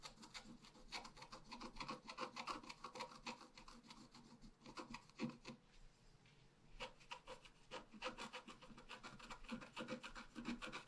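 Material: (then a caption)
Paper. A wooden stylus scratches flowers into the tree crown of a thin scratch art paper sheet lying flat. Quick, uneven, dry scratching strokes rasp across the paper with a bright, papery hiss. There is a brief quieter lull near the middle before the strokes pick up again.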